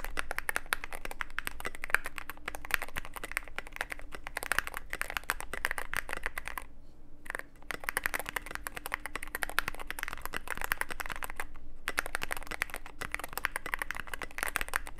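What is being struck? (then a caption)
Mechanical keyboard, plastic keycaps, aluminium case. Fingertips type steadily on a Cyberboard mechanical keyboard with plastic keycaps and a black aluminum case, producing a dense stream of sharp, clacky keystrokes with a bright midrange ring. There is a brief pause around seven seconds before the typing resumes, over a faint, steady low hum.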